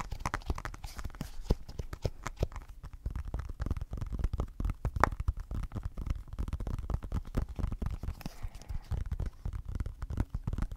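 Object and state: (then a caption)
Glass tablet screen. Fingertips and short nails tap and scratch the glass screen of an iPad in a blue silicone case, held close to the mic. The result is a dense, steady stream of quick, dull taps with soft scratching in between, mostly low and thuddy with little bright content and no ring after each tap.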